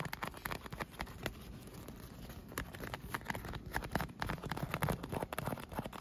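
Fingernails tap and scratch across an air-filled inflatable PVC vinyl pool float with a teal leaf print and cup holes. The result is a fast, uneven run of dull, hollow taps mixed with scratchy rubbing, with a brief quieter stretch of scratching in the middle before the tapping picks up again.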